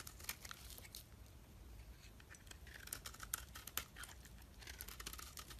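A steel utility-knife blade scrapes and shaves a solid, palm-sized oval purple bar of soap held in the hand, producing powdery flakes. The quiet clip is a run of crisp, bright rasping strokes with sharp ticking crunches, over a faint low rumble.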